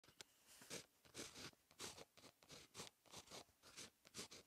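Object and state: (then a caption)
Pen writing on a paper notebook page. An InkJoy 0.5 ballpoint pen tip, held in the fingers, scratches across a lined paper notebook page lying as a solid flat sheet on a bound notebook while writing Korean script. Quiet, bright, hissy pen-on-paper scratching comes in short strokes that rise and fall in quick succession, with little low end.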